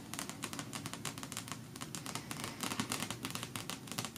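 Fingertips with long natural nails fast-tap and scratch the glossy card cover of the closed, solid paperback novel "The Pale Gold of Alaska," which lies on other books on a patterned cloth. About 28 quick, crisp clicks land in an irregular rhythm over a soft scratchy rustle, each dying away almost at once.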